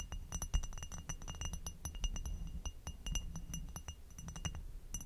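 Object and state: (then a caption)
Glass goblet tapped and scratched with fingernails. An inverted, hollow amber hobnail glass goblet is tapped with long acrylic nails on its foot and stem, then tapped and scratched across its textured bowl. Dense, rapid, bright glassy clicks ring briefly over a low, soft rumble, with quick chinks and light scratching textures.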